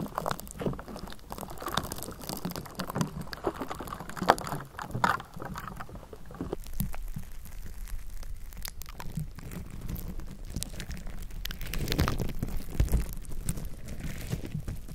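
Long nails of both hands scratch the hollow bare metal mesh grille of a Blue Yeti microphone, then the nails of one hand tap and scratch across its top. The sound is a dense, close, bassy rasping of many quick scrapes and light ticks, with sharper taps standing out near the start and toward the end.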